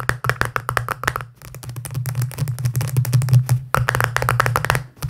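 Fingertips tap fast on the side and lid of a small, round, hollow pink plastic tub held in one hand. Quick, dry, short-lived clicks come in dense bursts, with brief gaps near 1.3 and 3.7 seconds, over a steady low hum around 120 Hz.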